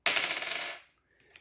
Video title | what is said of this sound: I Bought Another COIN COLLECTION! Everything for $40! Did I get my money's worth? | it's got that sound it's a little bit odd because I think it's misshapen